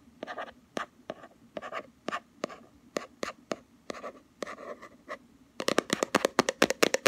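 A round, palm-sized plastic Body Shop Hemp body butter jar with a black rim and a green label on the lid is held in one hand while the fingernails of the other hand scratch and tap the labeled lid. Short, dry clicks and brief scratchy strokes come at an uneven pace. They turn into a faster, louder burst of crisp, bright taps near the end.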